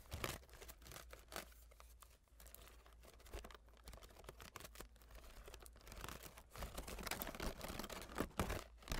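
Long nails scratch and tap the pale wooden ribs of a folding hand fan held open, and fold its blue starry fabric leaf. Soft, irregular scratching and light tapping mix with crinkly, papery rustling. The sound stays quiet and close, growing busier and louder toward the end.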